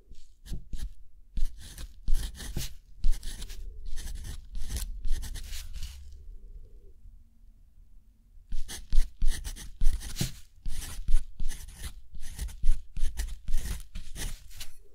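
A metal dip-pen nib scratches across a thick, textured cotton watercolor-style paper sheet lying flat on a desk while the other hand holds the sheet steady. Quick, bright, scratchy strokes come in dense bursts with a low, soft rumble underneath. The writing pauses into near-quiet for about two seconds midway before the strokes resume.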